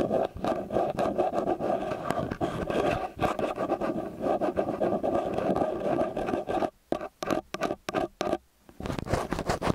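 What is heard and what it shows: Long fingernails scratch and tap the housings and grilles of a small silver metal XY stereo microphone, which has two angled capsules on a black and metal body and rests on a white cylinder. Dense, close, rustling scratches run steadily for most of the clip. Near the end they break into short bursts separated by brief silences.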